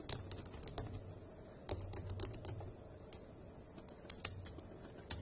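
Long acrylic nails and fingertips type on the hollow key caps of a dark grey plastic laptop keyboard, making a steady run of quick, bright clacks and taps. Each click is short and dry with no ring, and a low hum runs underneath throughout.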